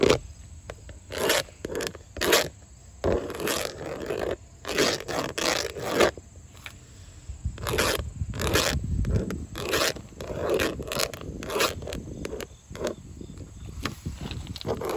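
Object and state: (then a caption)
Vinyl house siding. Long orange acrylic nails tap and scratch along the ridges of grey textured vinyl siding panels, thin plastic on an outside wall. Quick broadband clicks come in bursts, with rasping scrapes that sound like a zipper, over a faint low rumble.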